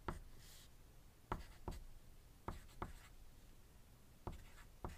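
A wooden graphite pencil writes on a thin white paper sheet resting on a desk, while the dice beside it stay still. Seven sharp, short strokes stand out, each followed by a soft scratching drag of the graphite across the paper over a quiet, low background.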